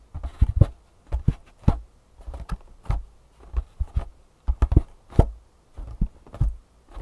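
A printed, hollow Superfeet cardboard shoe insole box is tapped with fingertips and nails, first lying flat on a table and then lifted and tapped on its side. Quick clusters of dull, low, hollow taps come in short bursts separated by brief silences. Each tap stops dead with no ring.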